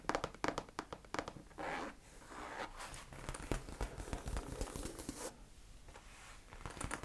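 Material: Leather.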